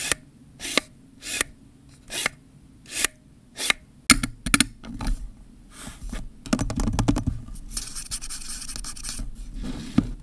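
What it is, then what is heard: Plastic camera zoom lens. Fingernails and fingertips scratch and rub the ribbed rings of a hollow black plastic camera kit zoom lens, first held in the hand and then stood upright. Six separate scratchy strokes come first, then a denser stretch of quick scraping and rubbing. The sound is dry and bright, with almost no ring after each stroke.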